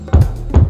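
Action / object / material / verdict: knock / interior wall / unknown / hollow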